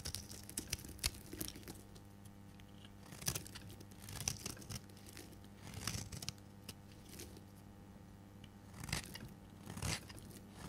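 A solid oval purple bar of dry soap, held in the hand, is shaved into flakes with a metal blade. Repeated short, dry, crunchy scrapes and cuts sound in bright bursts, some louder than others, over a faint steady low hum.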